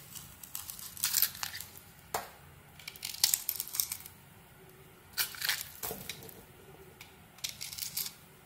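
A palm-sized solid bar of white soap with a pink glitter coating is held in one hand while a small metal knife blade carves and shaves curls off it. Soft, bright scraping and crisp crackling strokes come in irregular bursts with quiet pauses between them.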